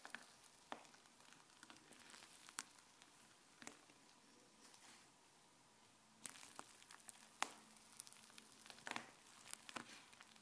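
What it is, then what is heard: Fluffy slime being squished. Fingertips with dark-painted nails push and fold fluffy white slime lying flat on a counter, pressing air out of it. Soft, quiet squishing is dotted with sharp, bright little pops and crackles. The sound grows busier and louder partway through.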